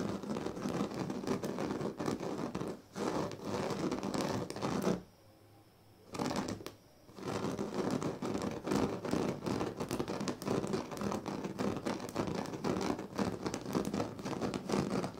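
Fingertips and nails of both hands scratch across the thin dyed reed strands of a large, flat woven reed sleeping mat. It makes a dense, steady, crackly scratching rustle with rapid overlapping strokes, broken by a near-silent pause at about five to six seconds and a shorter dip just after.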